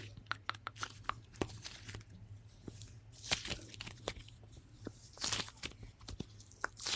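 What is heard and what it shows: Two small lumps of soft pink fluffy slime (polymer putty), solid and pliable, are held one in each hand just in front of a Blue Yeti microphone while fingertips with short nails squeeze, pull and fold them. The result is a run of sticky, bright crackling pops and short tearing crunches over a quiet, steady low hum.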